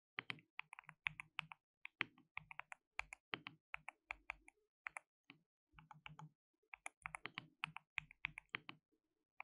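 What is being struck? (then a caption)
Plastic mechanical keyboard. Fingertips type rapidly on a compact white RGB-backlit mechanical keyboard with plastic keycaps and a hollow case. Bright, sharp key clicks come in quick bursts and short runs, each dying away almost instantly, with a faint low thud beneath some strokes and brief pauses between flurries.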